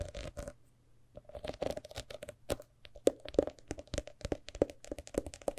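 Long nails scratch and tap on the decorated cover and gilt page edges of a large, old, thick hardcover book. Rapid, crisp clicks and dry scratching sounds come in irregular bursts, each with a short hollow knock in the mid range and almost no ring. There is a brief quiet pause near the one-second mark.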